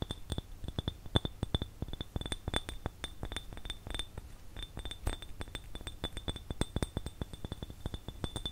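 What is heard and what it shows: A small, hollow, empty clear glass jar with no lid is held and tapped with fingertips and nails. Quick, irregular clinks ring out with a bright, high glassy tone over a soft low hum. Each tap dies away almost at once.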